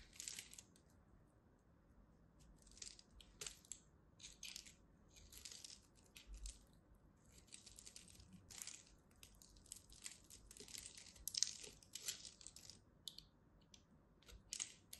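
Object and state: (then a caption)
Soap bar being cut. A small metal blade cuts into the corner of a solid purple and white striped soap bar, chipping pieces off. Quiet, crisp crunching and scraping bursts come in an irregular series, bright and almost entirely high-pitched with little low end.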